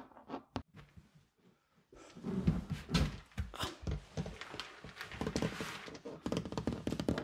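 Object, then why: Hard plastic hooded cat litter box. A large, empty, hooded cat litter box of hard plastic (white lid, blue base, clear door flap) is held up and knocked and tapped with fingertips and knuckles. A few quiet, sparse taps give way after about two seconds to louder, denser hollow thunks and rapid drumming, with low-heavy, boomy tones around 164 Hz. Each hit dies away almost at once.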